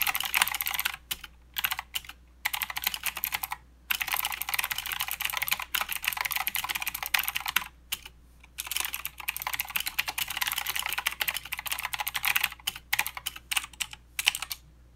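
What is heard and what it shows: Fingertips of both hands type continuously on a plastic mechanical keyboard with clicky blue switches and plastic keycaps. The result is a dense stream of sharp, bright clicks and clacks that die away almost instantly, broken by a few brief pauses. A faint, steady low hum sits underneath throughout.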